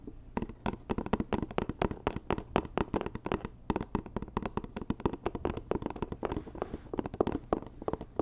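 Long nails tap quickly on a hollow white rigid cardboard Dior gift box. The result is a dense, uneven run of short, dry clicky taps with a hollow low-mid body and very little brightness. Each tap stops almost instantly, without ringing.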